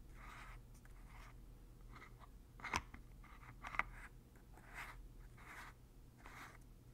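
A large white plastic Lubriderm lotion bottle with a blue plastic pump top is held in one hand while the fingers of the other hand twist and click the pump lid. Soft, scratchy plastic rasps recur through the clip, broken by two sharp, bright clicks near the middle. A low, steady hum sits underneath throughout.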